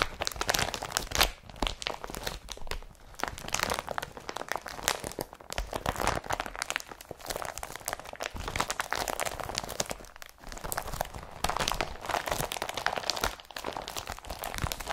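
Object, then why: Woven polypropylene carrier bag. An empty, soft blue IKEA Brattby woven polypropylene carrier bag is crumpled and squeezed in both hands with fingertips and nails. The result is a continuous dense crinkling and crunching, bright and papery, with brief quieter dips between bursts of handling.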